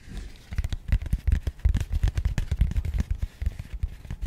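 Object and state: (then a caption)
Cardboard box tapped and scratched. A small, rigid, matte grey cardboard box held in both hands is tapped rapidly and scratched with long nails. The result is a dense, irregular run of short, dull, low thumps mixed with soft, brief scratchy ticks.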